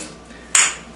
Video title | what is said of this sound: How to Repair Hollow Tiles | there's absolutely no difference between the two